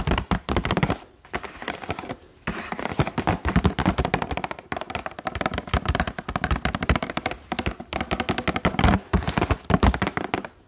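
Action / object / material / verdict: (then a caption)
tap / clear plastic blister pack on a cardboard card / plastic / none. Fingertips tap rapidly on the hollow clear plastic bubbles of a Bref toilet rim block blister pack, with blue balls sealed on a cardboard card and held close to the microphone. The taps come as a dense stream of short, hollow, thumpy clicks with a strong low end and almost no ring. The tapping pauses briefly a few times.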